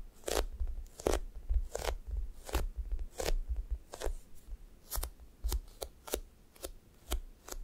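Flat fingers repeatedly press onto a thick, solid, sticky foam squishy toast and lift off its sticky surface. Each lift makes a short, bright, crackling peel, set against a steady low rumble.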